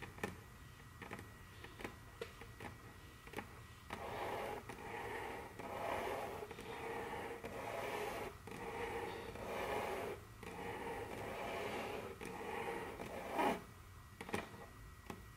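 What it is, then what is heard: Wooden tabletop. Very long curved fingernails tap and scratch across a large, solid, dark brown glossy wooden tabletop. Quiet taps open the clip, then longer mid-range scratching strokes swell and fade over a steady low hiss, broken by more clicks and one louder, brighter tap near the end.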